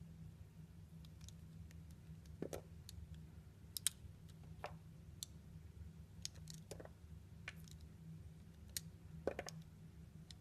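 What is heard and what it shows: A metal blade cuts and scrapes a solid, translucent orange glycerin soap piece held in the hand into chunks. Sharp, brief, bright clicks and crisp snaps sound at irregular intervals over a quiet, steady low hum.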